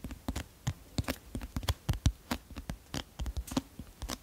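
Fingernails scratch and tap the teal illustrated card cover of a medium, solid paperback book, "Le Destin du Roi...", held beside the microphone. About two dozen quick, dry taps sound as soft low thumps with bright clicky edges, each dying away almost instantly, with faint scratching between them.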